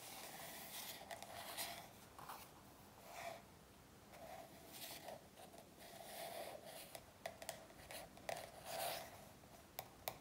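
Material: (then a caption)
Coated paper. Long nails scratch and tap the glossy back cover of a paperback workbook lying on a table. Quiet, soft rasping strokes swell and fade, with a bright, papery hiss and a midrange tone. Several sharp, short taps come toward the end.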